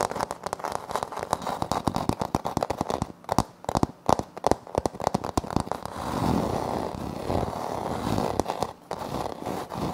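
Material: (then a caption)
Laminate. Fingernails tap rapidly and crisply on a flat, solid wood-look laminate floor panel with a light wood-grain print, close to a recorder that is left untouched. The sharp, dry clicks center in the midrange around 750 Hz, with little bass or high end. After about six seconds they give way to steadier scratching across the surface, broken by a few more taps.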